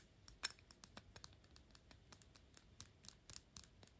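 Long pink acrylic nails tap and scratch the gold metal cap of a Gucci perfume bottle, making eighteen quick, quiet clicks with faint scratching between them. Each tap is bright and high with almost no ring, dying away almost at once.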